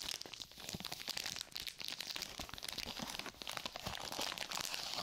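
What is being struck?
Sterile glove pouch of plastic film and paper.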